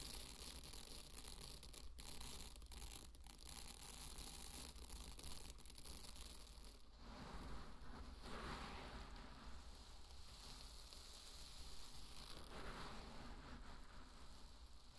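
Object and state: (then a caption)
Dry pearl barley grains being raked. Hands dig into and rake through a bed of dry pearl barley grains, producing a steady, dense rustle of shifting grains with bright, granular crackle. A constant low hum sits beneath it, and after about seven seconds the texture thins into softer swishing sweeps.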